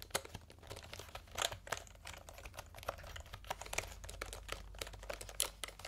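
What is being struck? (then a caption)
Plastic computer keyboard keycaps. Fingertips type and tap on the round plastic keycaps of a plastic computer keyboard held upright, making a quick, uneven run of short, bright clicks and clacks. Each tap stops at once with no ring, over a faint low steady hum.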